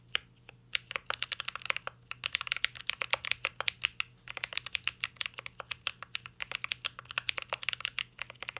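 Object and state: Mechanical keyboard with metal case.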